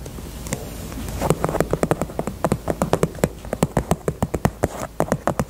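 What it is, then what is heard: Faux leather purse tapped with nails. Long nails tap quickly across the side and bottom of a small, hollow pink faux leather heart purse. After about a second of quiet low rustling, a steady run of short, dry, clicky taps begins. Each tap has a soft, low, hollow body and dies away almost at once.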